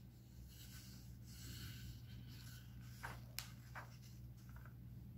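An open paper comic book lies flat on a stack on a wooden table while fingertips and nails rub and scratch across its printed pages, making a soft, airy rustle over a steady low hum. Three short, crisp papery snaps follow as a page is flipped, the sharpest one bright and clicky.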